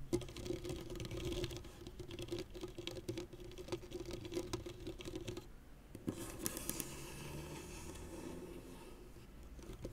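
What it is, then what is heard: Synthetic tennis racket strings scratched and plucked. Fingernails and fingertips of both hands scratch and pluck the taut synthetic string bed of a blue-and-white tennis racket head lying flat on a cloth. The result is a dense, quiet patter of scratches and soft plucks over a steady low-mid tone near 355 Hz. The sound dips briefly just past the halfway point, then resumes with brighter scraping that fades toward the end.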